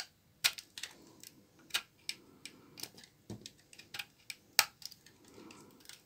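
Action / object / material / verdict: scrape / bar of laundry soap cut with a knife / soap / none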